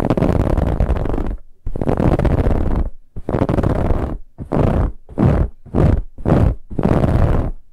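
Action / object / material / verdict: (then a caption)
scrape / ribbed fabric pillow / fabric / none. Fingernails scratch fast across a soft brown, finely ribbed fabric pillow in eight separate bursts. The rough, rasping texture is heavy in the low end with a faint airy top. The first strokes run long, the middle ones are short and quick, and the last is long again.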